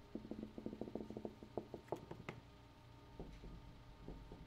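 A room wall is tapped with a quick run of 13 short, dry, muted knocks, each dying away almost at once. The taps crowd together in the first two seconds, then thin out into a few softer, scattered taps over a quiet background.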